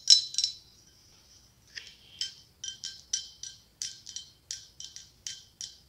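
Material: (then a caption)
Glass. A hollow, ribbed white blown-glass pumpkin with a gold stem is held and tapped with long acrylic nails. Thirteen short, bright clinks come in clusters, each ringing high and fading quickly, with no low body to the sound.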